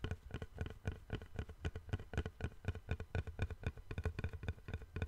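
Fingertips and nails tap the surface of a long, flat, light, solid wooden board held in both hands over a microphone. About 26 quick, slightly irregular taps come at roughly four per second. Each is a soft, low, hollow thud with faint brighter clicks that dies away almost instantly.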